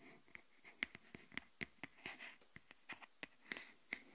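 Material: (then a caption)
Silicone. An empty green silicone phone case lies open side up on a wooden table while long nails tap and scratch its inside. The thin, flexible, hollow case gives off quiet, sharp clicks with very short ring and a bright tone near 2 kHz, mixed with soft scratching between the taps.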